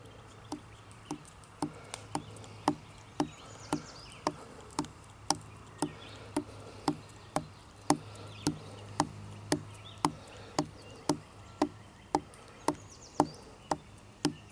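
Fingertips and short nails tap and scratch along a thick, solid living tree branch covered in rough, cracked bark outdoors. About 28 short, dry knocks land at a steady pace of roughly two per second, each dying away almost instantly. A faint low hum runs underneath throughout.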